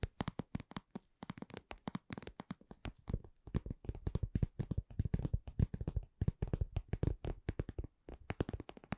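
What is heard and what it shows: Long nails tap and scratch a soft, hollow, glossy red patent vinyl cosmetic pouch in a quick, uneven run of short, dull taps. The taps are low and muffled, with almost no ring after each one.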